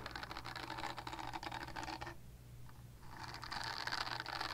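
Long nails scratch across the bristles of a purple silicone body scrubber, making a dense, bright, papery rasp over a steady low hum. The scratching drops away for about a second near the middle, then returns slightly louder and brighter until the end.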